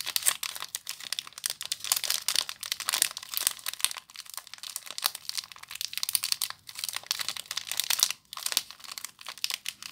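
A small soap bar in a clear plastic wrapper with crimped ends is crinkled and squeezed by fingers with long nails. The result is a continuous run of dense, bright, crackly crinkling with many short snaps and almost no low end, with brief quieter pauses around 4, 6.5 and 8 seconds.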